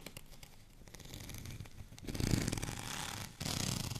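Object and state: Textured plastic rolling pin.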